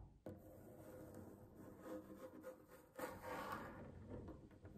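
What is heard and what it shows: Long fingernails scratch across a solid wooden tabletop in a steady, dry rasping rub with no separate hits, then the hands lift off the surface at the end.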